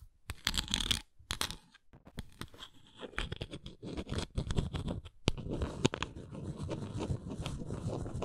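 Long nails lightly scratch and tap a round, flat, engraved wooden coaster. Short bursts of dry, raspy scratching alternate with quick taps at first, then give way to a steadier, continuous scratching with a few sharper taps. Each sound stops almost at once with no ring.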